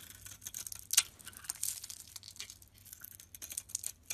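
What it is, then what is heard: Bar soap being shaved. A utility knife blade scrapes and shaves the outer layer off a solid, hand-sized, pink pearlescent oval bar of soap held in the palm, exposing its white interior. The sound is quiet, bright, crisp scratching made of many short rasping strokes, with one sharper, louder scrape near the one-second mark.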